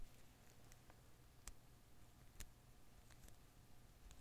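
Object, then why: Rubber Koosh ball with thin filaments. A single blue and green Koosh ball of thin rubber filaments is held and flicked by one hand, then held in one palm while the other hand's fingertips pluck its strands. Very quiet, brief soft ticks and bright, crisp snaps of the rubber strands sit over a steady low hum and faint background noise, with a couple of slightly louder flicks standing out.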